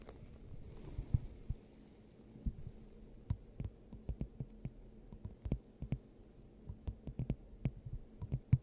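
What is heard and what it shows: Long acrylic nails on both hands tap and scratch a clear, hollow, hand-sized glass globe fitted over the top of a microphone. The result is a steady, irregular stream of soft, muffled, low thumps and short clicky taps, with faint scratching between them. Each tap fades almost instantly.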